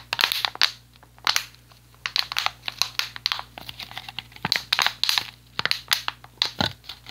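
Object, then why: Thin plastic water bottle. An empty clear PET water bottle with a blue cap is held in one hand and squeezed and crushed by the fingers. It makes a quick series of bright, crackling crinkles and crunches with short pauses between the bursts.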